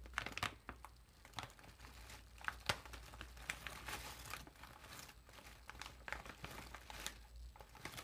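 A large, puffed, foil-lined metallized plastic chip bag is held up while hands slowly squeeze and crinkle its film and gold foil top seal. Irregular crackling crinkles come through with sharp, bright snaps scattered throughout. A low, steady hum sits underneath.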